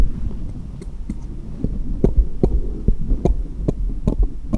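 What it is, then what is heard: Small steel jeweller's screwdrivers. A hand holds one small solid steel jeweller's screwdriver and taps it against a cluster of others resting on cloth, metal on metal. Short, sharp clicks with bright ticks come at an uneven pace over a steady low hum, each tap dying away almost at once.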